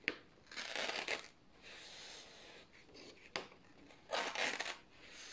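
Thin white printed office paper sheets are held in both hands while fingertips start slow tears at the top edge. Quiet, bright, crackling rips come in several bursts, with soft papery rustling between them and a couple of sharp snaps as tears begin.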